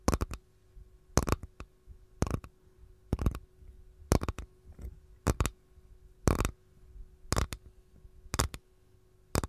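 Long gold nails tap and scratch the underside of an empty capiz shell tray held edge-on. Quick clusters of crisp taps land roughly once per second, each a short, dry click with a low thump and a bright edge that dies away almost instantly. Faint scratching and a steady low hum fill the gaps between clusters.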